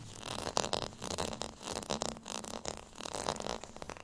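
Fingernails scratch across the bumps of a small, solid, beige plastic rice paddle with a textured surface. The result is quiet, dry, raspy scratching in rapid uneven bursts, bright and hissy with a mid-range rattle and very little low end.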